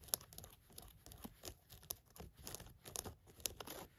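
Long nails scratch khaki cotton canvas work pants lying flat, working over the waistband, the button area and the orange elastic waistband lining. Quiet, dry scratches and crinkling rasps come in quick bursts. Bright clicks stand out where the nails catch.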